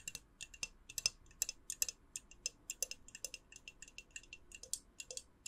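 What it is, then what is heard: Glass candle jar. Long nails tap the white lid and clear glass side of a small hollow glass jar, held in one hand with a lit candle inside. About thirty quick, bright, dry clicks come in an uneven run, each dying away almost at once, with nearly all the sound high and very little low end.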